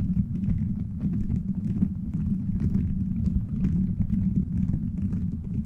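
Fingertips and nails scratch and tap a cover of colorful translucent plastic gummy-bear beads strung over a metal microphone head. The result is a steady, close, low rumbling crackle of rapid, dry clicks and rustles with faint brighter ticks above, holding an even level throughout.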